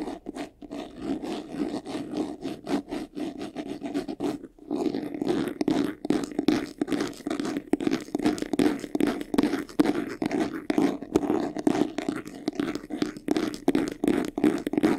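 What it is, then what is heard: Faux leather vanity case. Fingertips and nails rapidly scratch the sides and front edges of a medium, hollow vanity case covered in white textured faux leather. The result is a fast, uneven stream of short, dry scratching strokes with a hollow, mid-toned body around 300 Hz, plus a brief pause near the four-second mark.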